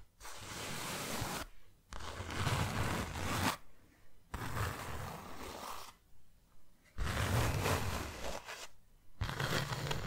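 Long nails scratch and tap a closed, hand-sized white cardboard box, making dense, rough rasping bursts with a heavy low thud beneath. The bursts run a second or more each, separated by short pauses, with a few softer quick scrapes in between.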